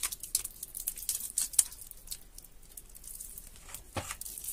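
Hands squeeze, knead and tear a soft, water-soaked, mushy bar of soap with their fingertips in a clear plastic tub of soapy water. It makes quiet, bright, wet crackling and tearing bursts, denser and louder in the first half, with a fuller squelch near the end.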